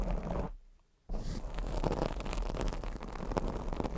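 Long acrylic nails scratch a black foam microphone windscreen, making a dense, muffled scratching and rustling weighted toward the low end. The scratching fades to near silence briefly, then resumes and continues steadily with small bright flicks to the end.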